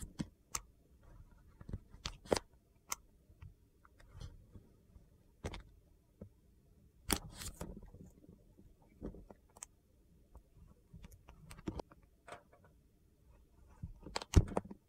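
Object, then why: Glycerin soap block and plastic peeler with metal blade. A red plastic peeler with a metal serrated blade scrapes thin shavings off a solid, translucent, multicolored glycerin soap block held in the hand. Short, dry, crunchy scraping strokes with bright, crisp clicks come in irregular bursts over a low, soft rumble, and each stroke ends almost instantly with no ring.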